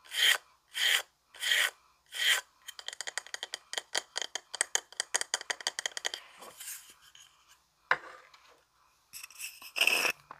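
Fingernails scratch across the engraved surface of a small, flat, solid round wooden coaster held in both hands in the dark. Four slow, separate rasping strokes give way to a rapid flurry of short, bright scratches, then a few longer, scattered scrapes. The sound stays dry and high, with no low end.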